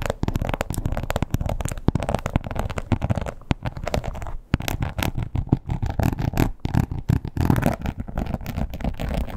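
Long almond-shaped acrylic nails with black tips scratch and tap the textured surface of a red crocodile-embossed leather wallet with a strap tab, lying flat on a bed. The result is a dense, continuous run of soft, muffled scratches and quick dull taps, mostly low and thuddy with little brightness. A brief pause comes midway before the rapid scratching and tapping resume.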